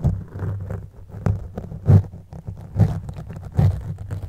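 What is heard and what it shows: The teeth of a blue plastic comb scratch across a black foam windscreen covering a microphone. They make a deep, muffled rumbling scrape in uneven strokes, with a few louder, boomy bursts standing out from the steady low rustle.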